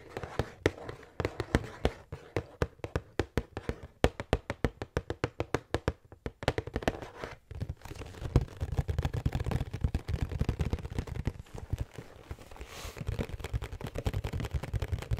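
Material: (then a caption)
Cardboard. A large printed cardboard pretzel box is held in one hand while long nails tap and scratch across its flat front panel. Quick, dull, low-heavy taps come in rapid bursts, then blend into a denser, continuous scratchy rustle toward the end. Each tap dies away almost instantly, with no ring.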